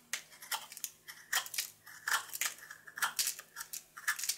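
A solid rectangular blue bar of soap, held in the palm, is shaved and carved with a red patterned knife blade. Close, irregular scraping and crisp flaking crunches follow one another, each short and bright with a faint whistling edge near 1.7 kHz. There is no low end.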